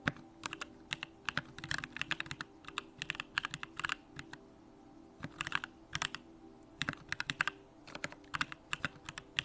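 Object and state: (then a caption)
Mechanical keyboard being typed on. Fingertips type continuously on a 65% Bakeneko65 mechanical keyboard with Durock lavender switches, pink plastic keycaps and a hollow aluminum case. Crisp, bright clacks come in quick bursts separated by short pauses, each stopping almost instantly, over a faint steady low hum.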